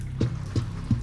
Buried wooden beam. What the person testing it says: That's one of the beams. This beam is hollow wood.